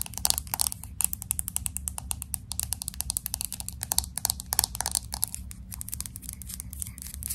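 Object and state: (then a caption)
Glass-back smartphone with metal frame. A fingernail taps quickly and irregularly on the glass back and the side edge of a pink smartphone with an aluminum frame. Each tap is a short, dry, bright click with almost no ring. A steady low hum runs underneath throughout.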